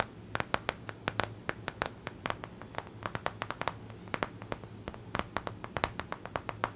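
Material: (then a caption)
Paper. Long acrylic nails tap and scratch the glossy printed surface of a stiff Lord of the Rings paper art print, a thin flat sheet held upright in one hand. The result is a quick, irregular run of sharp, dry clicks with crisp, bright tops and almost no ring, over a faint low hum.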